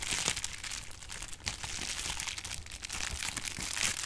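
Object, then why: Plastic bubble wrap. A roll of clear plastic bubble wrap is squeezed and its bubbles popped with the fingers. The result is a steady, bright crinkling and crackling, scattered with sharp little pops and brief louder snaps, over a faint low rumble.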